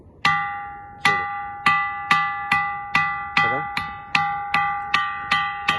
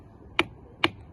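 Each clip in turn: First: Steady stone-on-stone strikes, each ringing clearly near 800 Hz like a small bell: a ringing rock. Second: Two sharp, dry clicks that stop at once: the normal dull sound of ordinary rock, with no ring.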